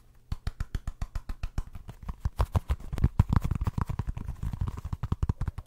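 Fingernails scratch and tap the ridged surface of a small orange textured rubber football stress ball. The result is a quick series of short, dry, low thumps with light scratchy texture, growing denser and louder partway through.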